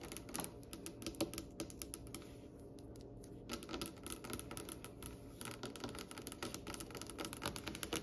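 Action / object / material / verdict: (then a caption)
tap / varnished wooden tabletop / wood / none. Long nails and the fingertips of both hands tap rapidly on the glossy, varnished solid dark wood top of a polished table. The result is a dense run of crisp, short clicks with a faint woody knock beneath them. The tapping thins out briefly around the middle of the clip and then picks back up.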